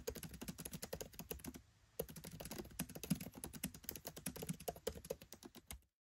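Fingertips type rapidly on a MacBook Pro 13 keyboard, with black plastic keycaps set in an aluminium body. The quick run of short, dry key taps has a soft low thump and a bright clicky edge, and it pauses briefly before resuming. The typing stops just before the end.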